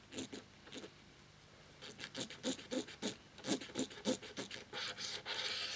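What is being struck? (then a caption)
Plastic laptop keyboard without keycaps. A cotton swab scrubs the exposed translucent plastic key mechanisms of a plastic laptop keyboard frame with its keycaps removed. Quick, fairly irregular rubbing and scratching strokes, about three per second, carry a bright, hissy texture with a faint low-mid body. Toward the end the strokes blur into a denser, continuous scrub.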